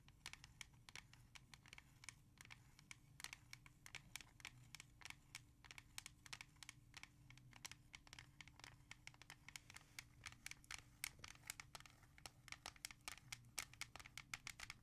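Long painted nails tap and scratch fast on the plastic back of a small, hollow, hard plastic CD jewel case with a disc inside, held in both hands with the back cover facing up. A rapid, uneven stream of sharp, bright clicks and scratchy rasps sits over a quiet, steady low hum. Each tap dies away almost instantly.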